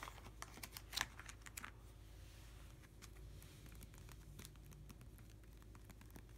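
Fingertips of both hands tap and scratch across a clear plastic nine-pocket sleeve page holding cardboard hockey cards in an open ring binder lying flat. Quick, dry plastic ticks and faint crinkly scratches cluster in the first two seconds, then thin out into sparser, softer taps over a low steady hum.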